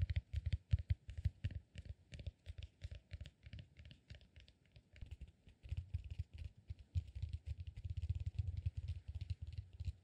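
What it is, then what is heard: Cork massage ball tapped and scratched. A solid, peanut-shaped cork massage ball is held in both hands and scratched and tapped with fingertips and nails. Quick, irregular taps give soft low thumps layered with dry, bright scratchy clicks. The tapping thins out briefly in the middle, then returns denser and steadier toward the end.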